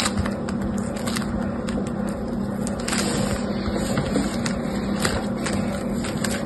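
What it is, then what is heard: Foam bead slime (floam). A small lump of yellow-green foam bead slime (floam) is held in one hand and squeezed and rolled by the fingers and thumb nail. It makes a steady stream of soft crackling and popping with bright, sharp clicks scattered throughout over a low, even hiss.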